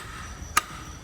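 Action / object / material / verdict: knock / steel exhaust valves in a cylinder head / steel / well-seated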